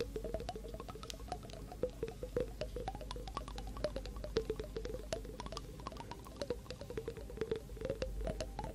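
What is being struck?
Small glass jar partly filled with water.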